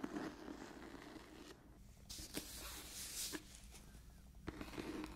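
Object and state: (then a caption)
Cloth-bound hardcover book. Long nails scratch across the cloth cover of an old hardcover book, making a soft, dry, hissing scrape with sharp little ticks scattered through it. A brighter, rougher stretch of scraping comes in the middle before the book is laid flat at the end.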